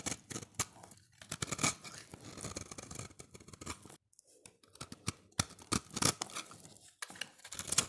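A solid oval orange bar of dry soap, held in the hand, has its edge shaved with a utility knife blade as curls pile up. The audio is a run of crisp, bright scraping and crackling strokes with short gaps between them, and one near-silent pause near the middle.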